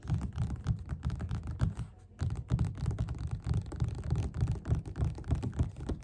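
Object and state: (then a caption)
Paperback book. Fast fingerpad tapping with both hands on the beige paper cover of a solid, closed paperback book lying flat on a table. The result is a quick, irregular patter of soft, dull, low thuds that die away almost instantly, with a brief pause around the two-second mark before the tapping resumes.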